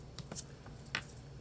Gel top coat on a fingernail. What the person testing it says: El sonido crujiente es muy agradable y la textura es realmente mate.